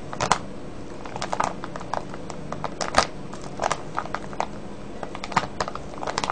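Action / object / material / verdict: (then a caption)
shake / clear plastic bag of foil-wrapped candies / plastic / none. A full clear plastic cellophane bag of foil-wrapped candies is squeezed and crinkled by fingertips. Irregular bursts of sharp, bright crackling, some close together and some spaced apart, rise over a low, steady background rustle. Each crackle cuts off almost at once.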